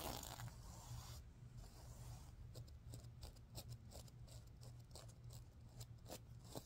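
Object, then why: Plastic sequins on a fabric pillow. Long nails and fingertips stroke and scratch back and forth across the reversible teal and green plastic sequins of a soft, stuffed, heart-shaped fabric pillow, flipping them over. A dense, bright rustling scrape opens the clip, then gives way to a series of short, crisp, high flicks and clicks as the sequins turn. A steady low hum sits underneath throughout.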